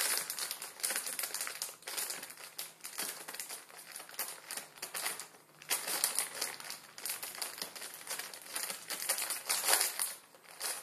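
Fingertips scratch and crinkle the surface of a plastic film ramen noodle packet resting on a wooden table. The result is a continuous, bright, dense crackling with many quick crinkles and almost no low end.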